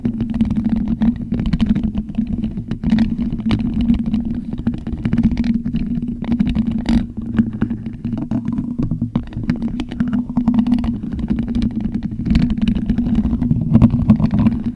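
Plastic skeleton hands scratch across a hollow black metal mesh microphone grille. The result is a steady, dense rasp with a low droning hum near 240 Hz, scattered with sharp, bright clicks and scrapes throughout.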